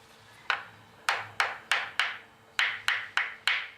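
A block of dried bonito fillet (katsuobushi) is tapped nine times at an uneven pace. Each tap gives a short, woody knock that rings only briefly, centered in the upper midrange, rather than a high, clear metallic tone. This block is not ready yet, and its flesh has taken on a red color.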